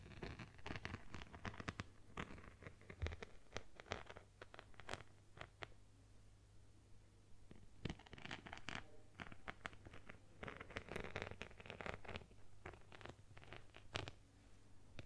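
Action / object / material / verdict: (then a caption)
scrape / plastic phone case covered in beads / plastic beads / none. Long nails scratch across the back of a phone in a plastic case covered with multicolored beads, making quick, dry, rattling scratches and clicks in bursts. The bursts fade into a lull around the middle before returning. A faint low hum runs steadily underneath.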